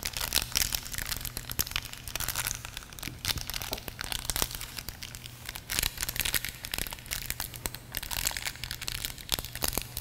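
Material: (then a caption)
Plastic film. A small, thin, flexible pinkish-purple soft plastic film packet from a GoPro accessory box is held between the fingertips of both hands above a wooden table and crinkled. Dense, bright crackling and rustling fills the clip with many quick snaps, over a faint steady low hum.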